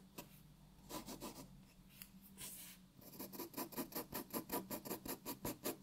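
A graphite pencil shades a white paper sheet resting on a wooden table with rubbing strokes. Soft, dry scratching comes in a few loose strokes, then settles into a quick, steady back-and-forth rhythm of bright, raspy rubs. The sound stays quiet and close throughout.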